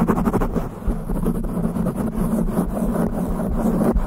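Long pink nails scratch fast across the top and sides of a black foam windscreen on a studio microphone. The result is a steady, muffled, low-heavy rumble of dense scratching with a faint hum underneath and no clear high end.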